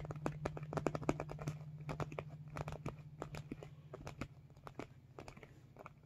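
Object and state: Vinyl makeup bag being squeezed.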